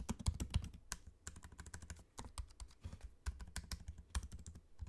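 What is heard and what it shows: Fingertips type on a MacBook-style laptop keyboard with low-profile plastic keycaps set in a space-grey aluminium body, with the trackpad visible. A quick, uneven run of short, quiet key taps is heard, each a soft low thud with a brief bright click that dies away almost instantly.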